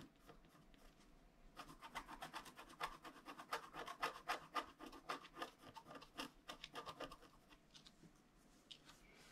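A wooden stylus held in the fingers scratches lines into a flat A4-size scratch art card, a black coating over a gold/holographic layer, lying on a table. Quick, dry, rasping strokes repeat at roughly four per second, starting soft, growing louder and brighter after the first second and a half, then easing off toward the end.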